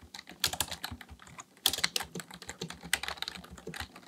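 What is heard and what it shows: Both hands type continuously on a black plastic full-size Dell KB1421 membrane keyboard with a hollow housing, resting on a desk, with fingertips pressing and tapping the keys. A rapid, uneven stream of short, bright plastic clicks and taps follows, each dying away almost instantly, with very little low end and a few louder keystrokes standing out.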